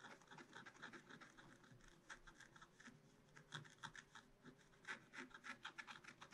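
A wooden stylus scratches mushroom details into the black coating of a scratch-art card in a spiral-bound book. Quick, irregular dry scratching strokes come in bursts of short, bright, crackly rasps, with a faint low rustle beneath.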